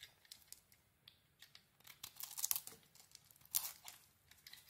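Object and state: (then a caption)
Bar soap being shaved. A small metal blade shaves a solid rectangular mint green soap bar embossed "BODY BAR," cut through to its cream interior. Quiet, dry, crisp scraping and crumbly shaving sounds come in short, irregular strokes, almost all bright and high with no low end. They build to a denser, louder run of crackling shavings in the middle and end with one more strong cut.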